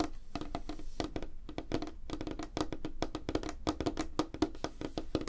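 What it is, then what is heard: Light wooden tabletop. Fingertips and nails tap rapidly on a solid, flat, light wooden tabletop, producing a fast, continuous run of short, dry knocks. Each tap stops almost instantly, with a woody tone around 310 Hz, plenty of low-end thump and very little high brightness.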